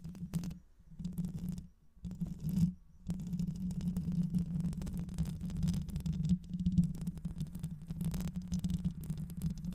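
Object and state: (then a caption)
Metal mesh microphone grille scratched. Long white acrylic nails scratch the hollow metal mesh grille of a black microphone, first with one hand and then with both. A dense, low, rumbling scratching with a steady hum near 170 Hz goes on almost continuously, broken by two brief pauses early on.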